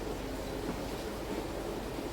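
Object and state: Nothing is struck.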